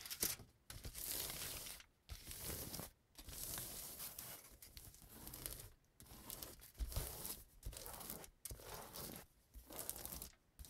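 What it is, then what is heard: Aluminum cooking foil being crumpled and rubbed. A crumpled sheet of aluminum cooking foil is lifted, then laid flat on a table and pressed and rubbed with the palms and fingertips. Bright, crackling crinkles come in bursts, separated by brief quiet pauses, with soft low thumps underneath.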